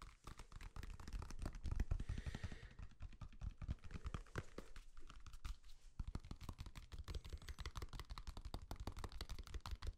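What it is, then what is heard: Banana. A whole unpeeled yellow banana is held close to a microphone and tapped and scratched on its peel with fingertips and nails. The result is a dense, rapid stream of soft, dull, low thuds with short, crackly scratching in between.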